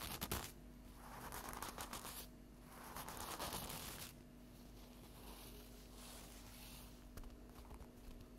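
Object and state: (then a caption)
Stack of paper napkins. Long acrylic fingernail tips tap and scratch the top of a flat stack of paper napkins lying on a table. A few sharp taps at the start give way to soft, papery scratching strokes that swell and fade in waves, with a faint steady hum underneath. The sound stays quiet and close throughout.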